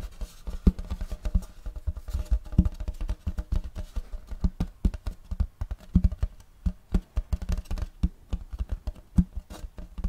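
Fingertips tap quickly on the back and front of a large, flat, round wooden serving tray with a checkerboard block pattern, solid and empty. The result is a dense run of dull, low thuds with almost no bright edge, each dying away almost instantly.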